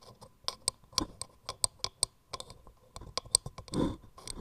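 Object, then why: Turned wooden mortar. Long nails tap and scratch quickly on the grooved surface of a hollow turned wooden mortar gripped in both hands. About fourteen short, sharp, bright clicks with no ring are separated by faint rustling, and a longer, rougher scratch comes near the end.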